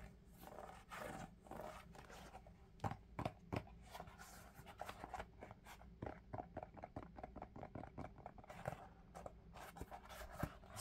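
An empty lavender Crocs molded foam clog with ventilation holes and a heel strap is held in the hands and tapped and scratched with fingertips and nails. Quick, dull, hollow taps sit over soft scratching. The sound is quiet and low, with each tap dying away almost at once.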